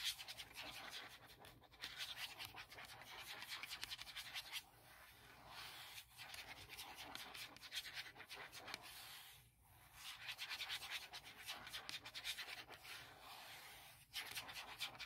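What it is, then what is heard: Hard plastic laptop case. Long nails scratch and tap across the flat printed surface of a forest-print hard plastic MacBook Pro laptop shell. The result is a quiet, bright, dry scratching texture with rapid little ticks, in several bursts separated by short pauses and almost no low end.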